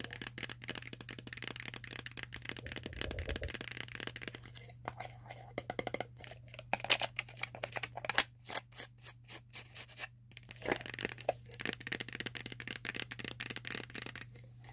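A medium-sized, hollow, cylindrical plastic Tootsie Roll bank filled with candy is held in the hands while long nails tap and scratch it and it is shaken. The result is a rapid stream of dense, bright clicking and scratching with short, dry taps and a steady low hum underneath.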